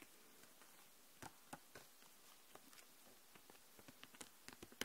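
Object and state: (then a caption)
Plastic marker case. Long nails tap and scratch across the plastic marker barrels in a clear plastic case full of markers lying flat. The result is a quiet, scattered series of short, sharp, bright clicks with light scratching between them, each dying away almost instantly.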